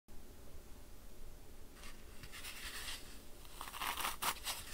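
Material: Floral foam.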